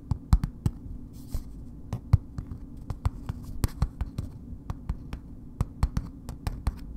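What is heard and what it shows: A solid bar of soap in a red paper wrapper, held upright, is tapped slowly with long nails. The result is a steady series of short, dry clicking taps with a dull low body and almost no ring, over a faint low hum.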